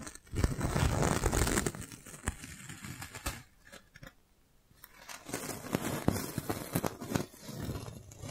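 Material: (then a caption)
Plastic. A clear, thin, hollow plastic magic balloon bubble about the size of a fist is held in one hand while the fingers of the other hand rub and press it. It makes dense crinkling and crackling rustles with sharp little snaps. The sound is loudest at the start, fades to near silence around the middle, then picks up again in irregular bursts.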